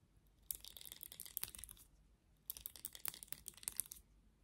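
Long nails scratch and flick the plastic bristles of a black plastic vented hairbrush. Two bursts of crisp, bright clicking and crackling are heard, separated by a short pause, with each flick ending abruptly.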